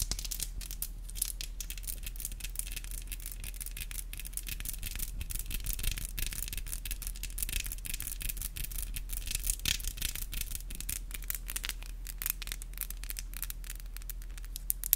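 Long black acrylic nails are rubbed and tapped against each other up close, giving a steady stream of bright, scratchy clicks and rasps over a low, constant hum. The taps come quickly and irregularly, with a few sharper clicks standing out near the end.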